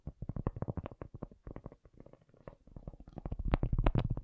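A cork object is tapped rapidly and unevenly, giving soft, dull, low-pitched thuds with almost no ring. The taps run in quick clusters, quieter in the middle and growing louder and denser toward the end.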